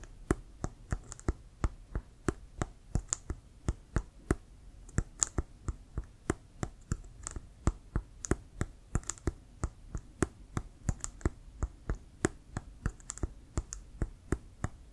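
Fingertips slowly tap a hollow, inflated Wilson brown leather American football, giving 37 short, dry taps. Each tap has a soft low thump with a faint bright click on top and dies away almost instantly, evenly spaced against a quiet background.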